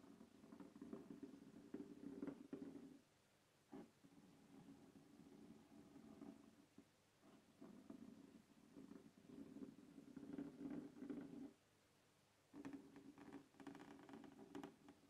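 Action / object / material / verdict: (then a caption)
scrape / hard plastic carrying case / plastic / none. Fingernails scratch the lid of a closed black textured hard plastic case resting on a wooden table. The result is soft, dense, rasping scratching in long bursts, with a hollow low-mid tone from the case. Brief pauses come near 3 and 12 seconds.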